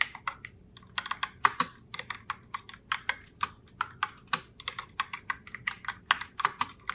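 Fingertips with long nails type continuously on a pink Logitech Pop Keys mechanical keyboard in Heartbreaker Rose, with round plastic keycaps. About three dozen short, sharp plastic clacks come in quick, uneven succession, bright and clicky with almost no low end and no ring after each strike.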